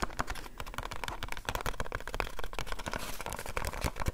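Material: Cardboard.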